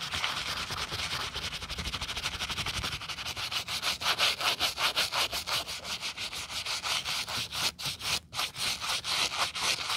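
A gloved hand scrubs a thick, solid white rubber/foam sneaker midsole lathered with white foam, using a wooden-backed brush in rubbing strokes. Rapid, bright, hissing bristle strokes repeat in an uneven rhythm, starting as a dense scrub and turning into more distinct back-and-forth swipes.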